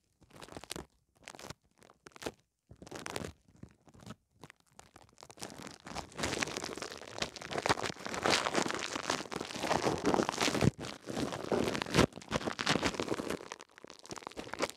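Thin clear plastic cling film wrapped around a small metal mini microphone head is crinkled and rubbed with fingertips. Short, separate bursts of crackling come first, then settle into a dense, continuous crinkle and rustle. The bright, close crunching then tapers off near the end.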